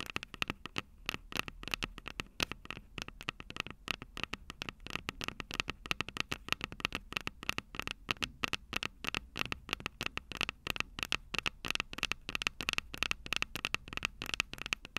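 Long purple nails tap and scratch the two silver metal mic capsules on the plastic body of a Tascam DR-05 handheld recorder. The result is a rapid, irregular stream of sharp, dry clicks and scratchy ticks, bright and clicky with a tone near 2.6 kHz and very little low end.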